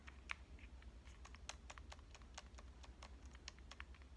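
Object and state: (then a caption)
Compact digital camera tapped with fingernails. Long dark-painted nails tap the metal-finish front body and lens area of a small pink Canon compact digital camera, a hollow device held upright in one hand. The result is a rapid, uneven run of crisp, bright clicks that stop dead with no ring, over a steady low hum.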